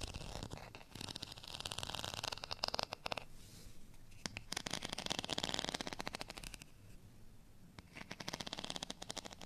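Long natural fingernails scratch along the ridged, textured surface of a beige plastic rice paddle, a thin solid flat spoon held in the hand. The result is bursts of rapid, dry, bright rasping strokes with short quieter gaps between them, and no ring after each stroke.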